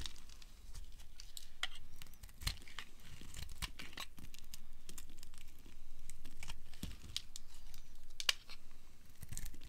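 A hand with long dark nails holds a solid amber dry soap bar while a small knife scrapes thin shavings off its edge over a pile of shavings. Dry, crisp scraping and crunchy clicks come in quick, irregular strokes, with bright, short snaps standing out against a steady low rustle.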